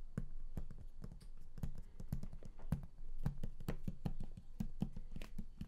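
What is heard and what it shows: Fingertips tap and scratch the raised lid panel of a large, flat, closed and hollow cardboard game collector's box. Quick, dull, hollow taps land in a rapid, uneven stream with soft scratching between them. The sound stays low and muffled and dies away almost instantly after each tap.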